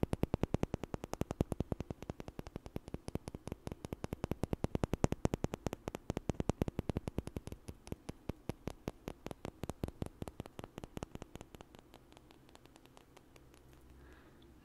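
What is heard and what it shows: Two small, solid, light wooden blocks, one held in each hand, are knocked together in front of the mic in a fast, steady stream of short, dry clicks. Each knock has a woody low body and no ring. The tapping keeps a steady pace, then grows softer and sparser toward the end until it fades out.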